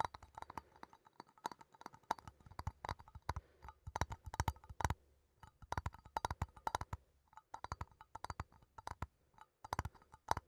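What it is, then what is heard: Metal coffee tin. A small cylindrical metal coffee tin is held in both hands while fingertips and nails tap and scratch its side and lid. The result is a quiet, irregular stream of short, dry clicks and taps with a faint metallic ring around 900 Hz, separated by brief soft scratching and pauses.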